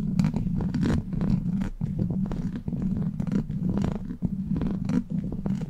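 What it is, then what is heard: Metal mesh microphone grille being scratched. Long black pointed plastic claw nails, like witch fingers, scratch and tap across the rounded, hollow steel wire-mesh grille of a large silver USB microphone. The result is a steady, close, low rumbling rasp with a purring hum around 160 Hz, broken by short, brighter scraping bursts and brief dips in level.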